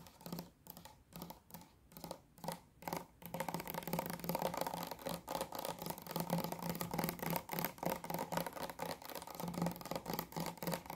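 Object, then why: Plastic bottle of liquid. Long nails tap a mid-size pink Garnier micellar water bottle made of clear plastic, hollow and mostly full of pink liquid, held in both hands. Spaced, hollow clicks with a low resonant tone start slowly, then speed up after about three seconds into a dense, rapid stream of tapping that keeps going to the end.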